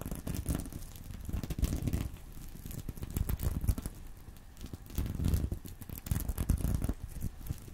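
Fingernails scratch and squeeze a small reversible sequin fabric purse resting on a pillow. Dry, crinkly scratching and rustling come in uneven waves, with a dull, low-heavy body and quick, dry flicks from the sequins.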